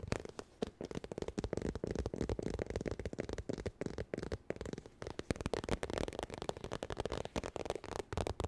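Fingernails quickly tap and scratch across the surface of a holographic textured vinyl makeup bag. The result is a dense, rapid run of short, dry, crackly taps with soft scratchy rustling between them. The sound sits mostly in the low and mid range, with little brightness.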